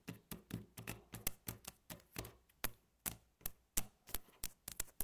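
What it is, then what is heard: Wooden tabletop. Two hands with long natural fingernails tap and drum on a flat, solid, light-coloured wooden tabletop, giving about twenty quick taps in an uneven rhythm. Each tap is a soft, low, dull knock topped with a bright fingernail click, and it dies away almost at once.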